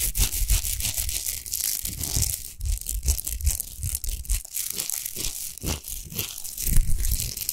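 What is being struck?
Rock salt lamp.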